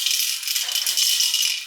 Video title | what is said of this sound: Bahaya Riding Road Bike di Peleton | diputer kayak gini ada bunyinya